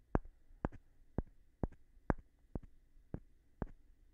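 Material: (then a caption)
Wood. A light-colored, palm-sized solid wooden block, held in one hand, is tapped on its face with a small rough stone held in the other. Eight short, dry knocks sound at an uneven pace. Each has a low thud and a brief crack with almost no ring, and a faint scrape follows some taps.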